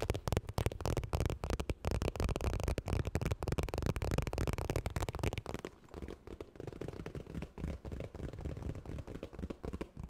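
Long nails rapidly tap and scratch the puffy surface of a medium iridescent holographic makeup bag made of padded, quilted plastic or vinyl, held in both hands. The fast, irregular, dull taps and rustling scratches are heavy in the low end and grow softer after about six seconds.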